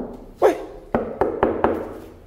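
Knocks on a newly painted plastic fuel tank for a Titan 150 motorcycle produce five short, hollow taps with a dull mid-range tone. The brief, quickly fading ring shows the tank is plastic rather than steel, making the bike lighter.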